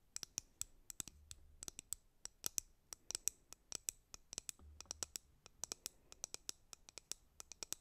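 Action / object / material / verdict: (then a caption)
tap / plastic hairbrush / plastic / none. Long painted nails tap and scratch the printed back of a white plastic hairbrush in a quick, uneven string of sharp, bright clicks. Each tap is dry and dies out almost instantly, with little low end beneath the high, crisp ticks.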